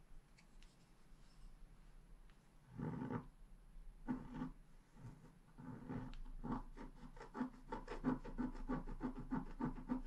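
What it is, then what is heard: Scratch-art paper being scratched. A wooden stylus scratches flower details near the bottom of a flat, black-coated scratch-art paper sheet while the other hand holds the sheet. It starts with a few separate rough scratching bursts, then settles into a quick run of short, repeated strokes. The sound stays soft, dry and muted, with little brightness.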